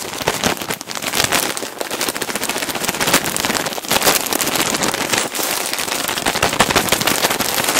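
A large clear plastic bag full of cotton balls is gripped, crinkled and tapped with fingertips and nails close to the mic. It makes a dense, continuous crackle of sharp, bright plastic snaps with little low end, staying loud and busy from start to finish.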